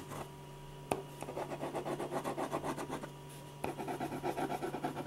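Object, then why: Ballpoint pen on paper sheet. A silver ballpoint pen scratches repeated back-and-forth hatching strokes across a large white paper sheet on a drawing board, shading a portrait's neck and face. The dry, rhythmic scratching runs at about four strokes per second, with a brief pause midway, a couple of sharp taps, and a steady low hum underneath.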